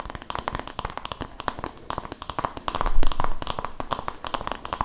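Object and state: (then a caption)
Wooden massage brush. The flat wooden back of a palm-sized oval wooden body-massage brush with a cream fabric hand strap is tapped and scratched with long nails and fingertips, close to the mic. The result is a quick, irregular stream of crisp clicking taps and scratchy crackles with a faint low thump under them, peaking slightly louder around the middle.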